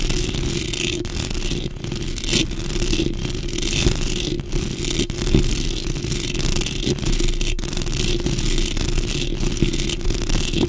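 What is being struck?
Metal mesh microphone grille.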